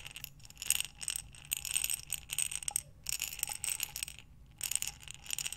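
Hands tilt and turn a glass mason jar with a metal lid, filled with buttons, so the buttons rattle inside. Bursts of bright, clicking rattles come in clusters separated by brief pauses, with sharp glassy ticks that die away almost instantly.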